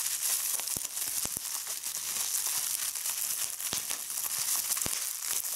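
Clear plastic bubble wrap is squeezed between fingers with long red nails, popping its bubbles. A steady bright crinkling hiss runs throughout, broken by about ten sharp pops.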